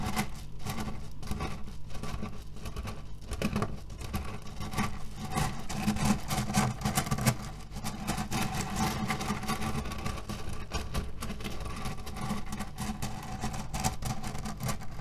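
Fingernails scratch and fingers knead a cherry pit pillow, cotton fabric filled with cherry stones, resting on a table. The result is a steady, dense crunch of shifting pits with soft scratchy fabric rustle, weighted toward the low end. Quick, tightly packed clicks run on without pause at an even level.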